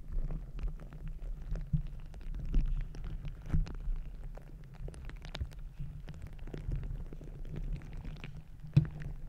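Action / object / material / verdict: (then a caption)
scrape / rubber squishy ball filled with gel beads / rubber, gel / none. A palm-sized green glittery squishy stress ball, with a soft rubber skin filled with gel beads, is pressed onto the top of a microphone and squeezed and kneaded with fingertips and long red nails, possibly with added sound from contact with the mic grille. The result is a dense, muffled, low rumbling squish with a steady hum-like tone, dotted with many short soft crackles and clicks. A sharper pop stands out near the end.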